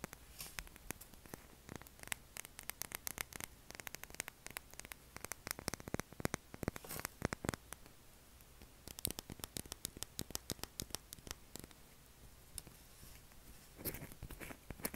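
A pale blue solid oval bar of soap is held and scratched and tapped with short fingernails. The result is a dense run of quick, dry clicks and bright scratchy bursts with almost no ring, over a steady low hum.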